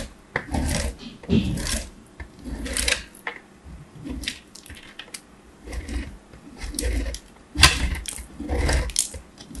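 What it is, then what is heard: Hard bar soap grated on a metal grater. A small, solid piece of hard bar soap, held by the fingertips, is scraped across a perforated metal box grater in repeated strokes. Each stroke gives a bright, scratchy rasp over a low rumble, with short quiet gaps between the strokes.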